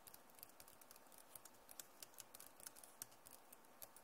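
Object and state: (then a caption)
Plastic laptop keyboard. Long nails tap rapidly on the plastic keycaps of a backlit Acer laptop keyboard, making about twenty short, bright clicks with almost no ring. The clicks sit over a quiet, steady low background.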